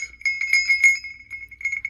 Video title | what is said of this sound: IT RINGS AGAIN AFTER 200 YEARS | Early 1800s crotal bell, size 4, very nice condition, and it rings.